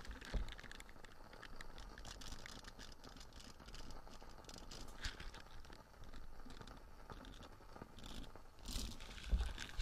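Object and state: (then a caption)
Silicone dish scrubber. A small light-blue nubby silicone dish scrubber with a hanging loop is held in the hand while its bristles are scratched and squeezed with nails and fingertips. The result is quiet, continuous crinkly scratching and soft crunching over a low rumble, with a few brighter bursts of scraping toward the end.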